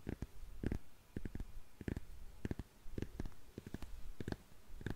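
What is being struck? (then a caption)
Patent leather high-heel shoe. Long nails tap and scratch the shiny heel and counter of a single black glossy patent leather high-heel shoe. A quiet, irregular series of short, dull, low-heavy taps comes through, with faint scratching between them and brief brighter clicks on some hits.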